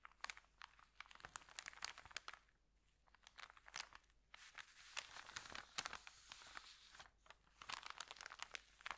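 An empty, flat white paper Subway bag with green print is pressed and rubbed flat with fingertips, then lifted and bent by hand to crinkle it. Dense, quiet, bright crackles and sharp dry snaps come in bursts with almost no low end, easing into soft rustling pauses before picking up again.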